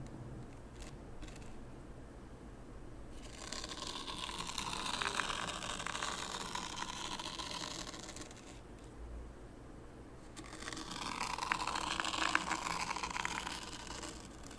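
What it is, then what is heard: Fine sand raked in a wooden tray. A small wooden rake, held by the fingertips, is dragged through fine white sand in a shallow rectangular light-wood tray, scraping parallel grooves. Two bursts of gritty, hissing scraping can be heard, each with fine high crackles. They are separated by quiet pauses over a soft low background rumble.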